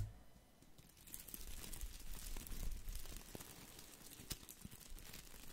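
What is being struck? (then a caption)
Artificial boxwood ball of plastic leaves. A small plastic artificial boxwood ball, a spherical topiary of plastic leaves, is held in the hand and scratched and rubbed with the fingertips. Dense, crinkly rustling and scratching crackles along steadily with quick, irregular taps and short crisp snaps. A low rumble sits underneath.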